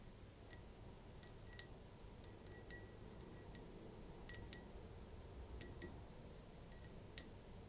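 Fingertips and nails tap the bowl of a tall, thin-stemmed glass champagne flute, hollow and nearly empty with a little liquid at the bottom, standing on dark fabric. About fourteen light, irregularly spaced taps each give a bright, high clink that dies away almost at once. A steady low rumble continues underneath.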